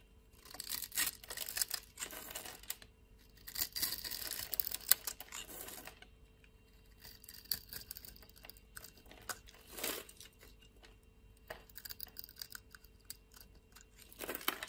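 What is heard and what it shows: A blade scrapes small cubes and sticks off a solid white bar of soap with a scored grid, held in the hand. The sound is quiet, with bright, crisp scraping and crumbly crackles in short bursts separated by near-silent gaps. It is mostly high-frequency, with very little low end.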